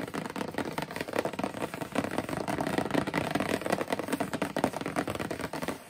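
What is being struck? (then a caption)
Cardboard shoebox lid. Long purple nails and fingertips tap and scratch across the closed lid of a large rectangular cardboard Demonia shoebox with a black-and-white marble print. The result is a steady six-second stream of dense, dry clicks and scratchy rustling, mostly in the low-mid range. Each tap dies away almost at once.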